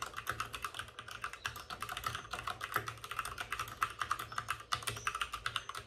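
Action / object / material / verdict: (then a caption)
tap / plastic mechanical keyboard / plastic / none. Both hands with short-nailed fingertips type rapidly on a white full-size plastic mechanical keyboard with plastic keycaps and RGB backlighting, resting on a desk with a padded wrist rest. A steady stream of short, dry, clacky key taps with a bright, crisp edge and almost no ring fills the clip.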